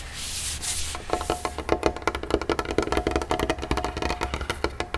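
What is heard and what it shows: Fingers tap rapidly on a cheap wooden dinner tray table that has just been cleaned of wax, producing dense, short, dry knocks with a woody tone. The first second holds a soft brushing hiss before the fast tapping begins.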